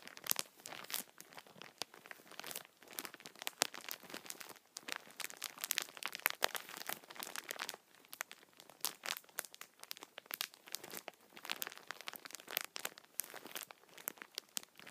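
Fingertips scratch and rub the thin plastic film over a multipack of tissue packets, crinkling it. Dense, bright crackles and crunches come in rapid, overlapping bursts with short pauses, with almost nothing in the low end.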